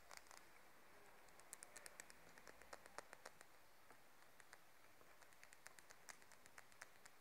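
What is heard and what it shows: Long nails tap and scratch along the edge of a light, solid wooden comb held in the hands. The result is a quiet series of short, crisp clicks and bright ticks over a faint, steady hiss.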